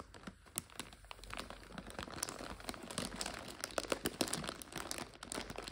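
Long fingernails scratch and crinkle a clear plastic bag full of dried egg noodles, its back label showing. Dense, irregular crackling and scratching with quick, bright snaps fills the whole clip, each crinkle dying away almost instantly.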